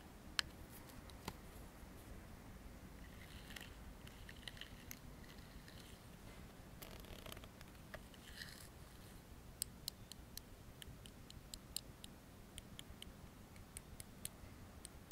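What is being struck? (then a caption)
Metal aerosol can and plastic comb. A metal aerosol deodorant can is held in one hand while the teeth of a black plastic comb are dragged and tapped across its metal side. Soft raspy scraping sweeps alternate with sharp, bright clicks and taps that stop almost instantly, over a quiet low hum.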